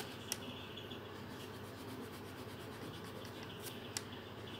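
A green felt-tip marker held in the fingertips makes repeated short colouring strokes across a thin paper colouring sheet resting on a table. The result is a quiet, steady scratchy rustle with bright, rhythmic strokes, broken by a couple of sharp, crisp ticks.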